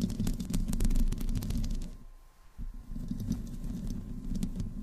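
Long fingernails on both hands scratch the hollow metal mesh grille and the sides of a black desktop microphone. It makes a dense, muffled, low rumbling scrape with quick bright ticks over it. The scratching fades to a near pause about halfway through, then picks back up.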